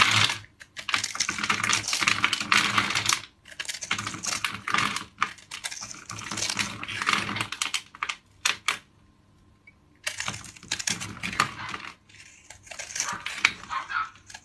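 A metal blade scores a grid into a hand-sized, solid rectangular bar of mauve dried soap held in one hand, then scrapes it, flaking off small cubes. Dense, crisp, bright crackling and scraping comes in bursts, separated by short pauses and a near-silent stretch midway.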